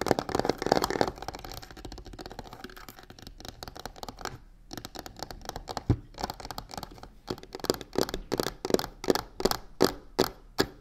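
Long nails quickly scratch and tap the sides and corner of a medium hollow box covered in black embossed crocodile-texture faux leather. A dense, rasping scratch opens the clip and fades to a softer rustle. It then gives way to irregular bursts of short, dry, bright taps that die away almost instantly.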